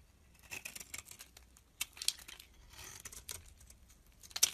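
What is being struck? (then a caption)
Bar of soap shaved with a metal blade. A small, solid pale green soap bar held in the hand is shaved into flakes with a metal utility blade. The clip is a quiet run of crisp, bright scraping and crackling strokes with almost no low end. A sharper scrape comes near the end.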